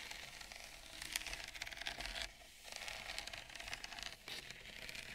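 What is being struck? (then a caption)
Bamboo serving plate. Long nails scratch and tap the rim of a wide, shallow bamboo serving plate with a ceramic bowl of roasted pumpkin seeds resting on it. The result is a steady, bright, crisp scratching and crinkling texture with quick, dry taps. There are two brief quieter pauses along the way.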